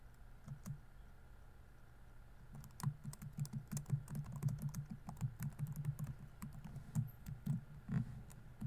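Fingertips type on a laptop keyboard with plastic keys, making soft, dull clicks with a low thud in each keystroke. A few scattered taps come first, then from about 2.5 seconds the typing turns into a steady but uneven run of quick keystrokes over a quiet low hum.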